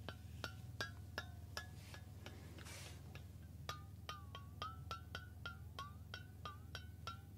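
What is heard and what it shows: A hollow stainless steel water bottle, held horizontally in both hands near the ear, is tapped on its metal body with the fingertips. The taps come in an uneven series of short, ringing metallic pings centered near 1.6 kHz with bright overtones, some gliding slightly in pitch. A steady low hum runs underneath, with a brief airy swish partway through.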